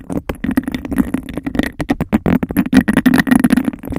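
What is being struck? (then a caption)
Textured glass cup. Long nails rapidly tap and scratch a clear, bubble-textured glass cup, hollow and empty, held over the mic. Quick, dense clicks and scrapes mix with a hollow, muffled resonance centred near 270 Hz, with a faint ringing tone around 2 kHz. The result is a busy, cupped tapping texture with very short decays.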